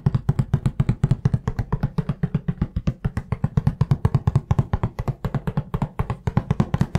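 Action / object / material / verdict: tap / cardboard tissue box with tissues inside / cardboard / none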